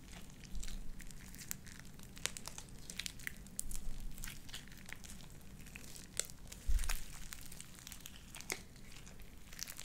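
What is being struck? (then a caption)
Slime with small plastic beads. Light-blue wet, sticky slime with white beads is pressed between palms and pulled apart by hands into stringy strands. Many sharp, bright crackles and pops sit over a low rumble, with louder squelchy bursts near the start, the middle and around the seventh second.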